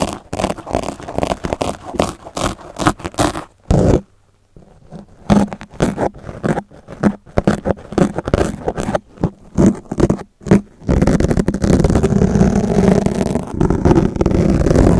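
The steel blades of two yellow box cutters repeatedly scrape and scratch a black foam microphone windscreen dome, leaving visible gouges in the foam. Quick, irregular scratchy strokes sound close and muffled, mostly low, with a brief quiet pause near the four-second mark. From about eleven seconds on, the scraping becomes a continuous, dense rasp.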